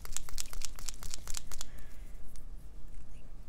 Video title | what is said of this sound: Coloring Supplies Haul - April to June 2021 | shake this until you can hear it clicking the ball mixing the paint inside